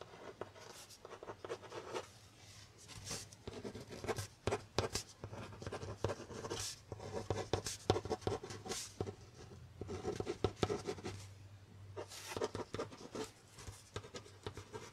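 A felt-tip or ballpoint pen scratches across a stack of white paper held by the metal clip of a brown hardboard (masonite) clipboard, which is held up sideways in one hand. Quiet, dry scratching strokes come in bursts with short pauses, with many brief sharp ticks and a low steady hum underneath.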